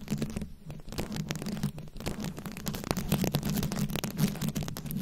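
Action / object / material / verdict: scrape / microphone head covered in rhinestones / rhinestone / none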